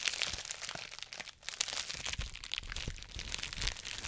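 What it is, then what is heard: Plastic bubble wrap. Fingertips and nails pinch, pop and crinkle the air bubbles of a large, clear plastic bubble wrap sheet held close to the microphone. Dense, bright crackling and crinkling fill the clip, with sharp little pops and occasional low thumps, and a brief lull near the middle.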